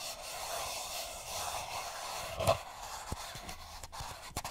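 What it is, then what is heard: Paper cup. A single small, hollow, empty printed paper cup, held upside down, has its sides rubbed and scratched with fingertips and nails. A steady, soft, papery rasping hiss runs throughout, with one louder scrape in the middle and a few brief sharp scratches toward the end.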